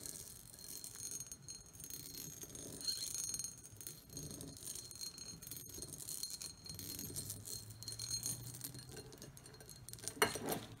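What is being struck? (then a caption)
Cut glass bowl. Long nails scratch and tap the textured surface of an empty, medium-sized, shallow patterned cut glass bowl, making a steady stream of quiet, bright, crackling clicks and scrapes with faint glassy ringing. Near the end, the hands grip the bowl's rim, producing a louder knock and a short, brighter rattle before the sound settles.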